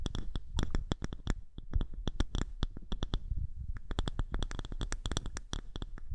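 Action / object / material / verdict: scrape / small polished wooden disc / wood / none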